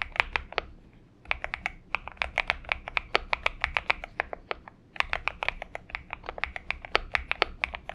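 Both hands type steadily with their fingertips on a compact 70% Xinmeng M71 mechanical keyboard, which has an aluminium case, lubed switches, a tape mod and purple gradient PBT plastic keycaps, resting on a desk mat. The rapid key taps make dense, bright, dry clacks that die away almost instantly. Brief pauses break the typing around the one-second and four-and-a-half-second marks.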